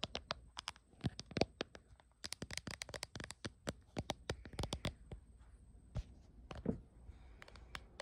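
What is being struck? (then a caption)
Plastic phone case. Long acrylic nails tap rapidly and irregularly on the back of a small smartphone in a glossy, printed dragon-pattern hard plastic case held in both hands. The taps are sharp, dry and bright clicks that die away at once, with a faint steady high tone running underneath.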